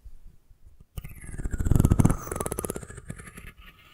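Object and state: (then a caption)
Wooden comb. Long nails tap the curved spine and scratch the fine teeth of a solid wooden comb held horizontally above the mic. After a near-silent first second, a rapid train of dry, close taps and raspy scratches builds to a dense, low, thumpy peak around the two-second mark, then thins into lighter, brighter scratching that fades out by the end.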